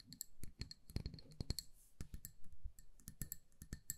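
A small amber glass candle jar with a paper label, filled with solid wax and held in the hands, is tapped and scratched with long acrylic nails. Rapid, sharp clicking taps with a dull low thump land close together, each dying away almost at once, with a faint high glassy tick on top and soft scratching between them.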